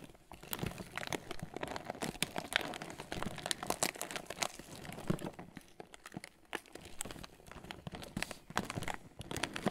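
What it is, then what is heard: Cardboard cracker box. Fingertips rub and scratch the surface of a closed, hollow red Ritz cardboard cracker box held upright in both hands. A dense stream of dry crinkling, scraping and crackling bursts runs throughout, bright and papery with a hollow low thump beneath. The loudness rises and falls irregularly, and each burst stops almost instantly.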